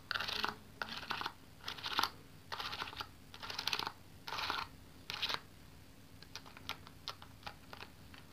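Long yellow-painted nails tap and press the plastic keys of a small black plastic pocket calculator with a hollow casing, held in one hand. Bright, clicky taps come in quick rattling bursts for the first five seconds, then slow into separate, sharp single clicks.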